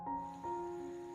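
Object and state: Nothing is struck.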